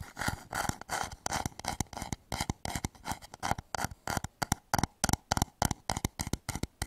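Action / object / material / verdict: tap / inverted wooden bowl / wood / none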